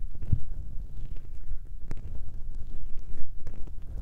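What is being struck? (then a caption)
Foam windscreen on a microphone. Fingertips rub and tap the small grey foam windscreens covering a recorder's mic capsules. The result is a steady run of deep, muffled thumps and soft rustling, with nearly all the sound at the low end. A few faint bright ticks cut through briefly.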